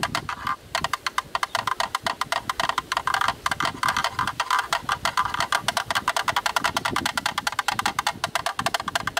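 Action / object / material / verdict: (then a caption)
tap / plastic camera lens hood / plastic / none. A black, rectangular, hollow plastic camera lens hood is held in the hands and tapped rapidly with a thin bamboo stick, through and around its opening. Dozens of quick, dry, hollow clicks sound with almost no ring and a bright, woodblock-like tone centered near 1.4 kHz.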